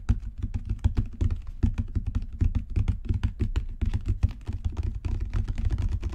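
Fingertips and long natural nails tap rapidly on a solid, dark brown genuine leather book cover with raised spine bands. The result is a dense, continuous patter of dull, low thuds with a deep, muffled body and faint clicky tops that stop almost instantly.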